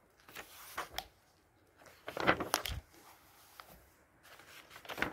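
Fingertips rub and press the pages of a thick glossy paper fashion catalog lying open on a table, then turn them. Soft, crisp rustling and swishing come in bursts with quiet gaps between. A louder, crackling flurry of bright paper noise in the middle marks the pages being turned.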